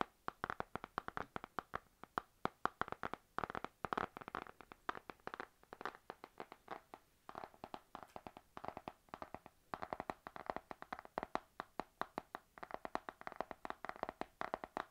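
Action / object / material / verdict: tap / spiral notebook with laminated card cover / laminated card / none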